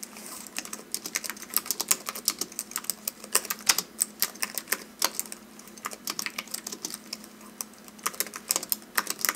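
A slim white wireless keyboard with plastic keys and an aluminum base, resting on a velvet desk, is typed on rapidly with the fingertips of both hands. Quick, bright, clicky key taps run continuously in uneven bursts, each dying away almost at once, over a faint steady low hum.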